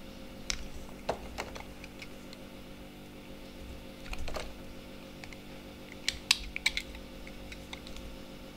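A utility knife with a snap-off blade shaves and scrapes the edge of a palm-sized, solid white speckled bar of soap held in one hand. Sharp, bright scraping ticks and short crackling cuts come in irregular bursts, with a longer rasping scrape near the middle, over a faint steady low hum. Each sound stops almost instantly with no ring.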